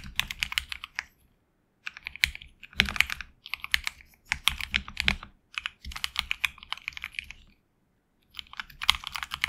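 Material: Plastic.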